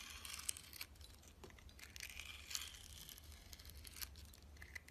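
A solid translucent yellow glycerin soap bar with a green sugary glitter crust is held in the hand and sliced with a metal box-cutter blade. The cut makes a quiet, bright, crisp crunching and scraping with sharp crackling ticks, over a steady low hum.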